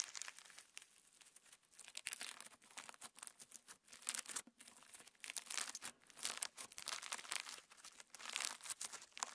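A handful of translucent pink sequin slime, a PVA slime filled with plastic star sequins, is squeezed, stretched into a band and pinched with fingertips and thumbs. It makes quiet, dense crinkling and crackling bursts, bright and airy with almost no low end, rising and falling in short rapid clusters throughout.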